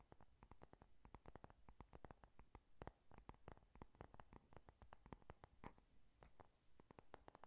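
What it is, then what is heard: Cardboard eyeshadow palette. A closed, flat pink "Honey Lust" eyeshadow palette with a cardboard cover is tapped and scratched with long nails. The result is a quick, dense run of soft, dry clicks and brief scrapes that die away almost instantly. The sound is quiet and weighted toward low frequencies, with only a faint high edge.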